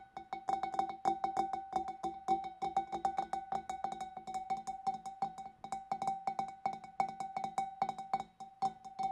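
Long dark nails tap quickly on the side of the neck and the rim of a large, empty, hollow clear glass fish bowl. Each tap is a short, bright click with a clear glassy ring near 780 Hz that dies away quickly, forming a steady, uneven stream of taps.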